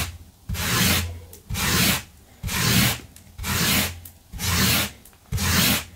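A gloved hand scrubs a flat blue looped synthetic carpet runner lying on a wooden floor with a small yellow-handled stiff-bristle brush. Six steady, evenly spaced brushing strokes are heard, each a loud, bright scratchy rasp with a low rumble underneath, separated by short quiet gaps.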